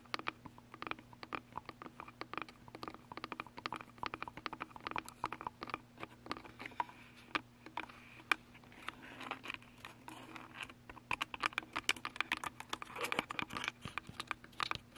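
Long nails and fingertips tap and scratch the sides and top of a Canon DSLR camera with a hollow plastic body and lens, held on a tripod. Many quick, dry, bright clicks and light scratches land in an irregular patter with almost no ring. A faint steady low hum sits underneath.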